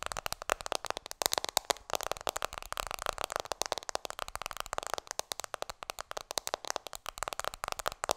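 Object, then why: Smartphone in a plastic case. Fingertips and long nails tap rapidly on an iPhone in a black plastic case held in both hands. The result is a dense, continuous stream of short, dry, bright clicks with almost no low end and no ringing after each tap.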